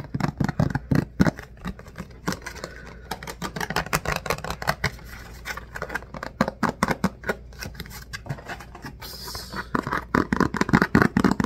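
A thin, rectangular clear plastic food container lid is held in both hands, turned, and tapped and scratched with the fingertips. Rapid, dry, crackly taps and scratches follow one another with very short ring, weighted toward a low, hollow body tone, with a brief softer, hissy scratch near the end before the tapping picks back up.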